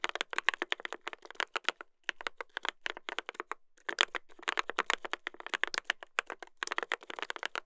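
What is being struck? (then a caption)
Mechanical keyboard with brass plate and plastic keycaps. A mechanical keyboard with a brass plate and plastic keycaps is typed on continuously by two hands using fingertips. Rapid, dry, bright keystroke clicks with almost no low end, each dying out instantly, with brief pauses near 2 and 3.8 seconds.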